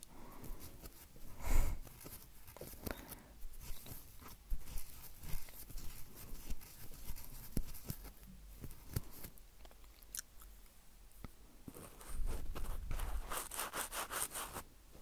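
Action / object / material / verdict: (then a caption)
scrape / metal mesh microphone grille rubbed with cotton swabs / metal mesh / none. Two cotton swabs, held by fingertips with long painted nails, rub the sides and then the tops of the hollow metal mesh microphone grilles on a small Roland recorder. The result is close, scratchy rubbing and crackling over deep, muffled thumps and rumble, with a loud swell near the start. A dense, bright, crackly stretch of scratching follows near the end.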